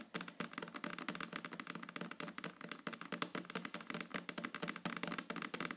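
Long fingernails tap rapidly on a flat, solid wooden tabletop, making about three dozen quick, dry clicks in an uneven, continuous patter. Each tap is short and crisp with a bright edge and a light woody body, dying away almost at once.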